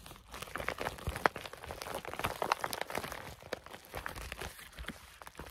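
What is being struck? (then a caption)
Padded plastic bubble mailer. A white, flat, thin padded plastic bubble-lined envelope is held in both hands and crinkled and squeezed with fingertips and short nails. The result is a steady, quiet stream of dry midrange crinkling and crackling, broken by brief sharp snaps that die away almost instantly.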